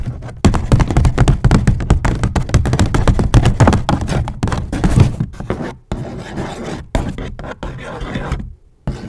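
A medium-size grey paper gift bag with white polka dots, hollow and apparently empty, is held up to a microphone and scratched and crinkled with long acrylic nails and fingertips. It gives a rapid, uneven stream of dull, low, boomy thumps and rustling scrapes with very little brightness, easing into quieter scratching near the end.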